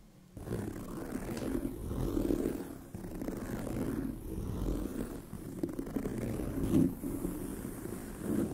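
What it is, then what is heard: Leather handbag scratched with nails. Long nails scratch across the tan pebbled leather surface of a brown leather handbag. The result is a continuous, dry rasping scrape centered low around 200 to 500 Hz, swelling and easing with each stroke and with very little bright content.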